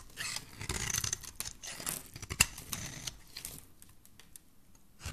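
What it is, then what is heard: Bar soap being shaved. A metal utility blade scrapes and shaves the corner of a solid, cream-colored embossed bar of soap held in the hand. The result is dry, bright scratching and crumbly shaving in uneven bursts, with one sharp click partway through, before the scraping fades out and picks up again at the end.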